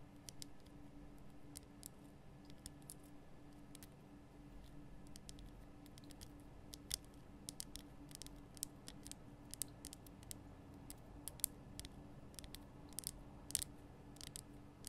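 Long nails tap and click along the sides of a large lit pink Himalayan rock-salt lamp, a solid rough crystal block. The taps are quick, sharp and bright, coming in an irregular stream over a steady low hum, and each one stops almost instantly with no ring.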